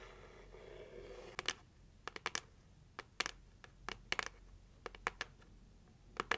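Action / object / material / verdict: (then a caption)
tap / heart-shaped cardboard gift box / cardboard / none. Long nails tap slowly on the lid of a closed red heart-shaped cardboard gift box. After about a second of soft, hissy scratching, a series of sharp, bright clicks follows at uneven intervals, some in quick pairs, each dying away almost instantly.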